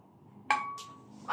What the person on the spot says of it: mas matining to kasi mas maiksi ang rayos